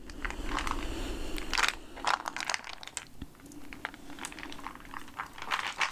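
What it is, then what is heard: Plastic jar of peanuts. A clear plastic jar full of peanuts, with a red lid and a paper label, is held, tilted and shaken by hand so the contents shift inside. Irregular bursts of bright crinkling and rattling rise and fall over a low, steady background hum, with each burst cutting off quickly.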